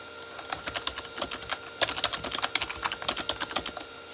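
Both hands type with their fingertips on a full-size Corsair K35 mechanical keyboard with red-backlit plastic keys. Around 23 short, bright plastic clacks land in an uneven rhythm, each dying away almost at once with almost no low end.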